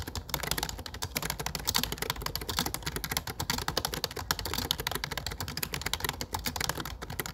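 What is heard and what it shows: Fingertips rapidly tap the keys of a low-profile plastic computer keyboard with dark plastic keycaps. A dense, steady stream of short, bright clicks with a soft low thud underneath runs through the whole clip, each tap dying out almost instantly.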